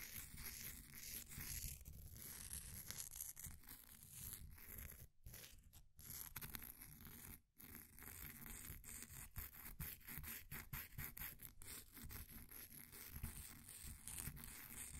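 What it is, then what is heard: Pressed powder bath bomb being scraped. A flat wooden popsicle stick scrapes the surface of a solid, green, ball-sized bath bomb of compressed powder held in a blue plastic ring holder, loosening powder. The scraping is a steady, gritty, crumbly rasp with a low rumble and a bright hiss, broken by brief pauses near 5, 6 and 7.5 seconds.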